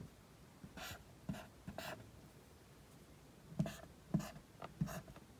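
A felt-tip dry-erase marker held in the fingers writes the letters A through H on a large flat whiteboard, rubbing and scratching across the surface. Short, separate strokes each make a soft low tap as the tip meets the board, followed by a bright, squeaky scratch. Quiet pauses fall between the irregular strokes.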